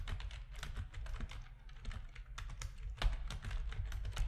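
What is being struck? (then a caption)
Plastic computer keyboard. Fingertips of both hands type on the keys of a full-size black plastic RGB-backlit keyboard resting on a desk, its hollow plastic housing giving each press a light clack. The keystrokes come in a quick, irregular stream of short, bright clicks that die away almost instantly, over a steady low hum.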